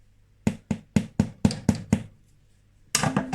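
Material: Bread.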